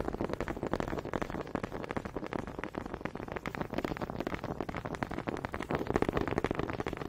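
Wooden honey dippers are tapped and clacked together in a quick, steady stream of dry, hollow knocks. The short taps have almost no ring and come a little unevenly, about two or three per second, with a mid-low woody tone.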